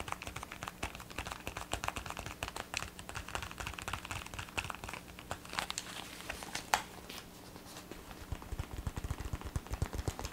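Fingertips and nails tap on the hollow ear cup of black plastic gaming headphones with blue LED accents. The result is a quick, dense run of light, bright clicks and hollow knocks, with one sharper tap standing out near the middle. A faint steady low hum sits underneath throughout.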